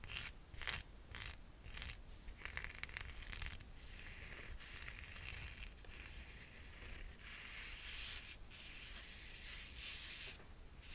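Long nails scratch and rub the thick cork-style footbed sole and edge of a rose gold sandal. Short bursts of bright, dry scratching in the first few seconds blend into a steady, hissing rub over a low background rumble.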